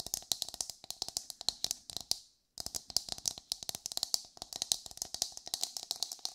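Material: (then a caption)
Coconut shell. Long white fingernails on both hands tap and scratch the hard, fibrous shell of a whole brown coconut. The result is a rapid stream of dry, bright clicks with almost no low end and no ring. The clicks pause briefly for a moment of silence, then resume.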